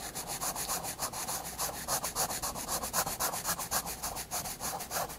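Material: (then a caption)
Paper. A graphite pencil held upright shades the hair of a drawing on the flat white paper page of a spiral sketchbook. It makes steady, scratchy back-and-forth strokes, about three or four per second. The rasping sound is dry and bright, with no low rumble and no ring after each stroke.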